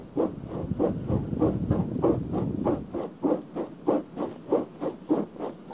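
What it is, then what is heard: Silicone ear cover of a binaural microphone, scratched. Long painted fingernails scratch and rub the outer ear of a pink, soft silicone ear cover, about hand-sized with a hollow ear canal, on a black binaural microphone. Repeated muffled scratching strokes come in a loose, steady rhythm, with a low rumble and almost no bright hiss.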